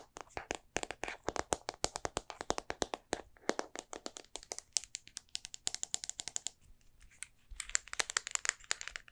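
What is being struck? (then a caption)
Plastic and metal compact film camera. A small, hollow, silver Olympus compact film camera with a plastic and metal body is held in the hand while long painted nails and fingertips tap it quickly and click its parts. About sixty sharp, dry, bright taps and clicks come in fast bursts with almost no ring. A brief lull near seven seconds is followed by a denser run of crisp, crackly clicking.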